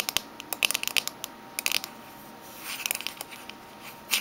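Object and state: Metal mint tin.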